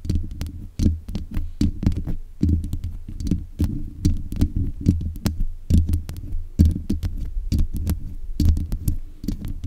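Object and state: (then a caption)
Metal microphone grille tapped and scratched. Long nails scratch and tap the metal mesh grille of a black USB condenser microphone. The result is a dense run of quick taps and scratches with a deep, booming low-end thump and short bright clicks. Each hit dies away almost at once.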